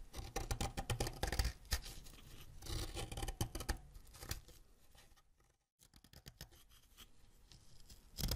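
A solid green wax crayon is scraped with a white ceramic knife, making a run of dry, gritty scratching strokes with low, thumpy energy. The strokes thin out and briefly fall silent near the middle, then resume more softly. Green wax dust collects on the blade.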